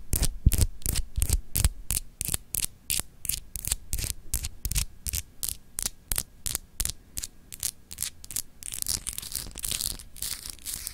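Long acrylic nails scratch a palm-sized solid clear glass globe paperweight with etched continents, held in the hand. Quick, bright scratching strokes repeat at a steady pace over a low hum, then blur into a denser, continuous rasp near the end.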